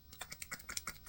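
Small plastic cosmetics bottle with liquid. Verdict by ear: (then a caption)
Watery. A new plastic bottle of eyeshadow primer elixir with thin, watery liquid inside is shaken by hand. It makes a quick run of light, bright sloshing ticks and clicks. The sound matches the very runny product inside.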